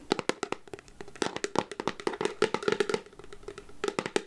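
Long nails tap quickly and irregularly on the black plastic lid of a clear plastic candy jar full of chocolates. The result is a rapid run of short, dry, clicky plastic taps with a faint hollow tone, with brief pauses between bursts.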